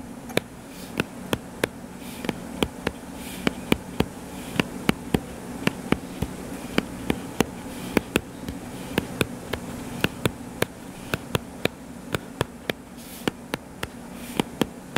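Fingertips tap rapidly on the cover of a solid, purple-covered paperback book lying flat, producing roughly forty short, dry, sharp clicks that stop almost instantly. The taps come in an irregular stream over a steady low hum.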